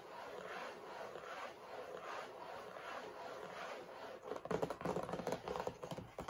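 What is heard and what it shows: Fingernails scratch along the sides of a rectangular printed cardboard tissue box, hollow and holding tissues, as it rests on a table, making a steady, soft, papery scrape for about four seconds. Then the nails tap the sides in a quick, irregular run of short, dry, hollow clicks that are louder than the scratching.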